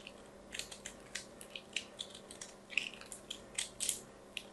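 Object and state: Soap being shaved with a knife.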